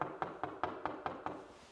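Seven quick knocks on a section of wide-plank wooden flooring give a hollow, light tapping sound centered in the midrange, each dying away quickly. The hollow sound shows the plank has delaminated and lifted off the subfloor, as the flooring has come loose throughout the whole house.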